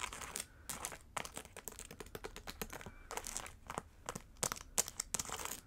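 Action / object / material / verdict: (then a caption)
tap / satin boot covered in plastic rhinestones and trim / plastic, fabric / none. Long acrylic nails tap and scratch the large plastic rhinestone gems and gold trim of a hollow pink satin boot, held upright in one hand close to the mic. The result is a quick, irregular run of bright, crisp clicks and dry, scratchy crinkling, mostly high-pitched with little low end.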